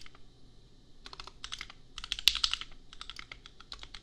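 A custom compact mechanical keyboard with Gateron Milky Yellow switches and red and pink plastic keycaps is typed on with the fingertips of both hands. It gives a quick run of bright, crisp plastic clacks with almost no ring and very little low end. The keystrokes come in uneven bursts, with a slightly louder cluster in the middle.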